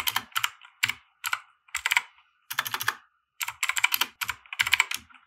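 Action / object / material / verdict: tap / plastic mechanical keyboard / plastic / none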